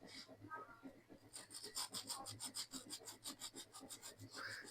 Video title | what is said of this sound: Ramadan Special Chicken bread Balls -चिकन ब्रेड बॉल्स- Easy Iftar Recipe - RR Daily Cooking | They're getting incredibly crispy on the outside, and they're getting incredibly crispy on the inside. You can tell by the sound